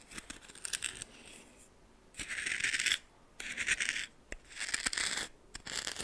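A red plastic spoon held in the fingers stirs and scrapes coarse white salt in a small, shallow, greenish tin-like metal bowl about half full. Bursts of bright, gritty scratching and crunching come and go with short quiet gaps between them, with almost no low end.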